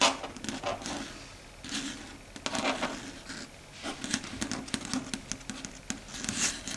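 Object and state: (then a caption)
Chalkboard tapped with fingernails. Long red stiletto nails tap and patter across a flat, dark grey matte surface of a solid chalkboard. Quick, bright clicks sound in uneven bursts over a soft, scratchy rustle, with almost no low end. Each tap dies away almost at once.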